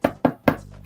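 A pumpkin-head prop made of thick, roughly 10 mm EVA foam coated in many layers of paint is knocked on three times. Each knock is a short, hard, hollow tap that sounds like plastic, though the foam still has some flex.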